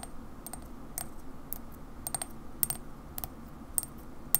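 A ceramic Coca-Cola mug is held on its side while long fingernails tap slowly on its white ceramic base. The taps are short, bright clicks with a high ringing edge that dies almost at once, over a steady low background hum.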